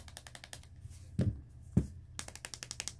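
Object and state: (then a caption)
Plastic phone back. Fingers tap on the plastic back of a Galaxy Note20, which has scuffs near the top, producing quick, light, hollow clicks with two louder, duller knocks in the middle. The plastic gives a different tapping sound than other phone backs, which leads some to call it less premium, but this is normal and not noticeable in everyday use.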